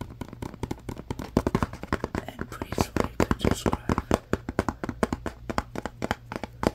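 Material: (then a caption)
Cardboard. Fingertips and nails tap and rub the surface of a small, apparently empty paperboard Scrub Daddy box with its flaps open. The result is a rapid, uneven stream of short, dry taps with brief scratchy rubbing between them, over a steady low hum.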